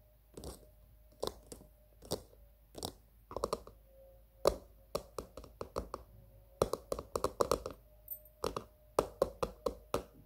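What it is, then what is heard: Plastic container tapped with fingernails. Long green-painted nails on both hands tap the sides and top of a small, hollow, glossy pink plastic cylindrical container resting on a table. Around thirty short, dry, clicky taps come in an irregular rhythm, each with a faint hollow tone near 580 Hz that dies almost instantly. The taps quicken into denser clusters in the second half.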